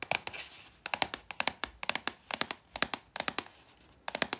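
Hands with long red nails tap, handle and turn over a red cylindrical Snack Day paprika chips canister (100 g), made of composite cardboard with a paper label, apparently full and sealed, with a perforated tear strip near the top. Quick, bright, dry taps come in irregular clusters, with a faint tearing and crinkling rustle that may be the strip being torn.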